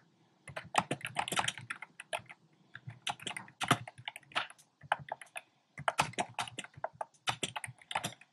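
Fingertips type on a compact plastic mechanical keyboard with round pastel plastic keycaps in a dark frame. Quick bursts of short, dry, bright clacks come in runs separated by brief pauses, with each keystroke dying away almost instantly.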